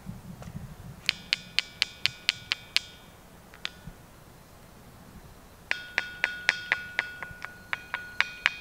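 A natural rock is tapped repeatedly and rings with a bright, metallic ting, like struck metal rather than stone. About 21 short pinging hits come in two bursts, a quick run of eight, a lone tap, then a dozen more. Each hit carries clear high tones and dies away fast.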